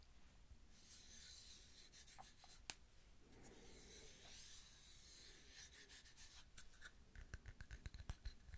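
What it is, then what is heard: Wooden tree slice coaster. Long nails tap, flutter and scratch across the cut surface and back of a round, flat, hand-sized solid wood tree slice coaster with a bark rim. Soft, bright scratching and rubbing runs steadily through most of the clip, broken by a sharp click. It ends in a quick run of dry, short taps.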